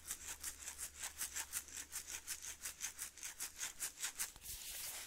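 A partly full glass Maxwell House instant coffee jar with a blue plastic lid is held in one hand and shaken and turned near the mic. The granules make bright, hissy rattles in a steady rhythmic pulse, about two to three shakes per second, with a soft, low hum underneath. The clip ends with a longer continuous slide of granules.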